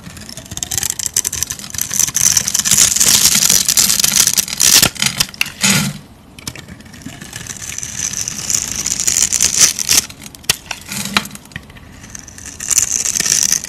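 A metal knife scrapes across the pre-scored grid of a palm-sized solid bar of soap, pink on the outside and orange inside, held in one hand, shaving off small cubes. The result is dense, bright, crackly scraping with a hissy high edge that comes in long bursts, with brief quieter pauses near 6 and 12 seconds.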